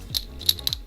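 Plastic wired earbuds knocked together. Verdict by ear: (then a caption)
Hollow. Two cheap fake wired plastic earbuds are knocked together, giving four short, bright clicks with almost no ring. The thin, high-pitched taps sound hollow, revealing cheap, lightweight plastic construction.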